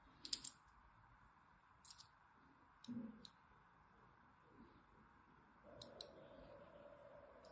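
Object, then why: Bar of soap. A thin needle-like tool scores along the surface of a palm-sized solid lilac bar of soap held in one hand. The result is a scattering of short, crisp, bright scratching clicks against a quiet background, with a soft, low, steady hum entering near the end.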